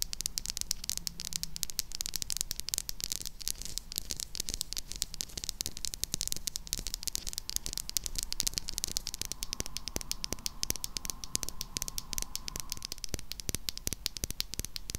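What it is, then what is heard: Bar of soap. A solid, white, rectangular, hand-sized bar of soap is held in the hands and tapped and scratched with long acrylic nails. The result is a steady stream of rapid, crisp clicks and dry scratching with a bright, hissy top end. A faint steady tone enters from about 9.5 to 13 seconds.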